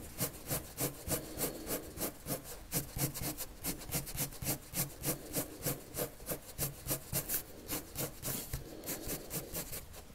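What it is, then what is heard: Paper drawn on with colored pencil. A red colored pencil draws long strokes across a flat sheet of white drawing paper, scratching and rubbing in a steady, rapid back-and-forth rhythm. Each stroke gives a soft, dry swish with a low rasp beneath and bright scratchy edges, and the strokes continue evenly throughout.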